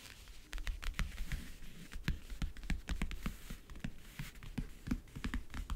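Fingernails tap rapidly on the lid surface and near the front edge of a closed, hollow backgammon case with a map-print covering. The irregular taps are short, dry clicks, each with a low hollow thump under a bright tick, and each dies away almost at once.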